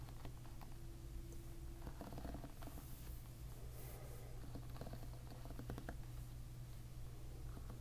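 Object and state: Plastic-pin hairbrush.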